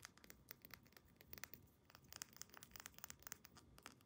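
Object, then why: Small glass dropper bottle with plastic cap and paper label. Long painted nails rapidly tap and scratch a small dark amber glass essential oil dropper bottle with a black plastic cap and a paper label. About twenty sharp, bright clicks come in quick succession, each dying almost instantly, over a soft, quiet scratching hiss.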